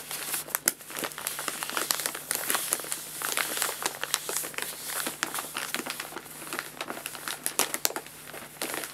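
Fingertips and both hands scratch and rub across a folded, empty paper guinea pig food bag lying on a lap. The result is a dense, bright crinkling and crackling with many quick, sharp rustles that stop almost instantly, over a faint steady low hum.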